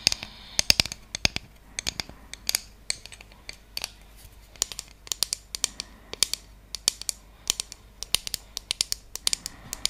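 A round, flat, solid bamboo trivet with cut-out shapes and a center hole is held in both hands and tapped and scratched with long acrylic nails close to the mic. Dozens of quick, dry, bright clicks come in uneven bursts, with faint scratching between them and almost no low end.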